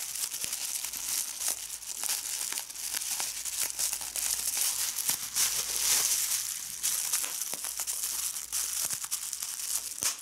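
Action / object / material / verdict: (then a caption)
scrape / plastic bubble wrap / plastic / none. A medium piece of clear plastic bubble wrap is crumpled and squeezed by fingers, popping its bubbles. Continuous bright crinkling fills the clip, punctuated by sharp, quick pops that die away almost instantly, with almost no low-end weight.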